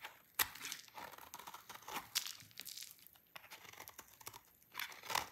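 A solid, dry red-orange soap bar is shaved with a utility knife blade into many thin shreds. The result is a run of crisp, bright scraping and crunching strokes with quick crackly tails, mostly high-pitched with almost no low end.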